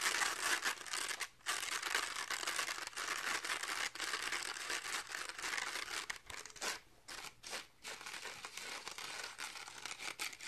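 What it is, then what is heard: Velcro toy catch paddle. Fingertips and short nails quickly scratch and rub the purple and orange felt/velcro face of a round, hand-sized toy catch paddle with a pink plastic rim, held in both hands. The result is a dense, bright, rasping scratch with irregular strokes and almost no low end, broken by brief pauses at about 1.4 seconds and between 6.5 and 8 seconds.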